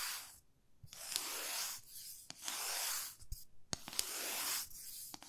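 Long fingernails scratch and rub the surface of a 30 cm solid light wooden ruler held horizontally. Bright, hissy scraping strokes alternate with brief pauses, with sharp clicks of nails catching the wood.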